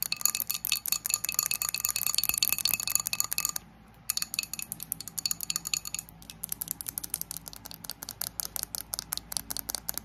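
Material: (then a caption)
Glass. Long acrylic nails rapidly tap and clink on the sides and base of a small, thick glass candle jar with a floral print, filled with solid wax. The result is a dense run of short, bright, glassy clicks with almost no ring, a brief pause, and then a looser stream of taps. A fan hums steadily underneath throughout.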